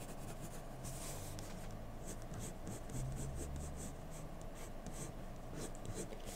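A hand-held wooden graphite pencil scratches short strokes with its tip across a single flat white drawing paper sheet on a desk. Soft, bright scratching bursts repeat in an uneven rhythm over a steady low hum.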